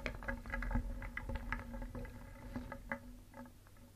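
A wooden spoon stirs and scoops small, solid, painted wooden toy pieces in a wooden bowl, knocking them together. The result is a quiet, irregular patter of quick, hollow wooden clicks and knocks with a low woody tone, each dying away almost at once.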